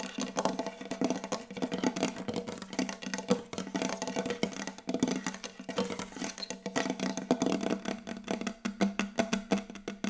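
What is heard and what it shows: Long yellow acrylic nails and the fingertips of both hands tap fast on a large, solid, glossy wooden tabletop. The result is a dense run of quick, dry clicks and knocks with very short ring, a hollow woody body around 250 Hz and bright nail ticks on top.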